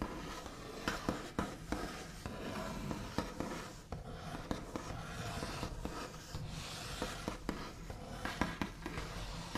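The backs of the fingernails of both hands tap and trace across a large solid wooden tabletop with a smooth white finish. Sharp, scratchy taps recur throughout over a steady, soft scraping rustle, each tap dying away almost instantly.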